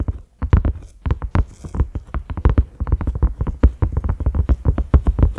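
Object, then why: Silicone lid. Fingertips of both hands tap rapidly on a large round cream silicone lid with concentric ridges and a grey knob. About thirty soft, deep, muffled thuds come in quick, uneven runs, each dying away almost at once with no ring.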